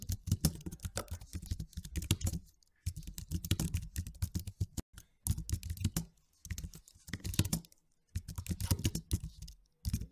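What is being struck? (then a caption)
Plastic low-profile computer keyboard. Both hands type with their fingertips on a white and silver slim, low-profile plastic computer keyboard with low plastic keys. Rapid key taps come in bursts of a couple of seconds, separated by brief silent pauses. Each tap is a short, dry click with a soft low thud and almost no ring.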